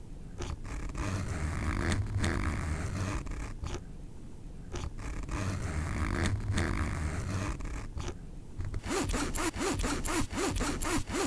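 Fingers pull the metal slider back and forth along the teeth of a black nylon backpack zipper, making repeated raspy zipping strokes with a low, rough buzz. Near the end the pulls become short and rapid, giving a quick series of bright, clicky zips.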